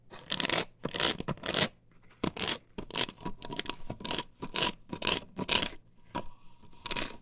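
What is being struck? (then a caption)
Plastic stencil template on wooden board. Long nails scratch across the perforated pattern of an upright plastic stencil template glued to a wooden board. The result is a run of bright, rasping scratch strokes in quick bursts, some harsh and some softer, with short pauses between them and a faint steady tone underneath.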